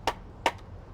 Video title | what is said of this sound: Bark Barbecue SAS BBQ Demo | if you hear that little Hollow sound you know it's a very seasoned and dry wood